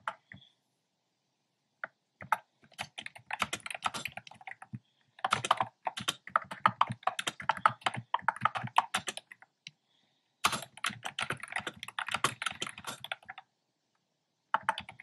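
A black plastic keyboard with hollow, round pastel retro keycaps is typed on by fingertips with painted nails. Bursts of rapid, crisp clicking with a bright, hollow plastic tone are separated by short pauses. Each keystroke stops almost instantly.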